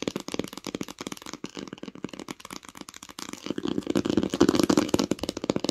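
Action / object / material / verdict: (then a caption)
tap / cloth-covered hardcover book with embossed pattern / cloth, board / none. Long nails tap and scratch the raised pattern on a solid green cloth hardcover book with an embossed, textured cover. The sound is a rapid, irregular run of dry, short clicks and scrapes with no ring, growing denser and louder in the second half.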